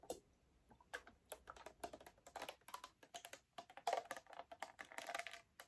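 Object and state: Plastic soda bottle.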